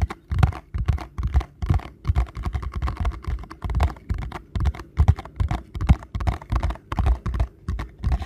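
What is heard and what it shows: Fingertips tap fast on the front face of a small paperboard ankle support box. The result is quick bursts of dull, low, hollow thuds with almost no ring, coming in an uneven rhythm.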